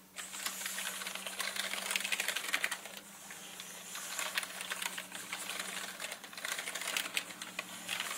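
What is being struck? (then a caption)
Plastic mechanical keyboard. Fingertips press slowly on a full-size black mechanical gaming keyboard with plastic keycaps and a hollow body. It gives a steady run of short, bright plastic clicks and clacks that die away almost instantly. A faint low steady hum sits underneath.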